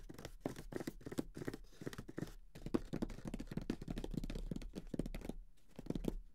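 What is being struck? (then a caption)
Closed cardboard board game box. A closed grey Monopoly cardboard board game box, lying flat and hollow, is tapped and drummed on its lid with the fingertips of both hands. It makes rapid, soft, hollow thumps with a low, papery body and almost no bright content. Each tap dies away at once, with brief quieter gaps between flurries.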